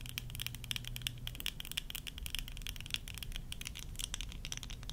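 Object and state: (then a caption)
Plastic eyeglass frames tapped with nails. Long acrylic nails tap and scratch the clear lenses and the small, hollow-rimmed frame of a pair of worn tortoiseshell acetate-style plastic eyeglasses. The result is a rapid stream of sharp, clicky taps with a bright tone near 3.3 kHz, mixed with light scratching over a steady low hum.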